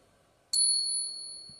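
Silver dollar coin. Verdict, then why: Real. A genuine, non-magnetic Morgan silver dollar is tapped once for a ping test. It gives a clear, high bell-like ring that sustains and slowly fades over more than a second, the long ring of a real silver coin.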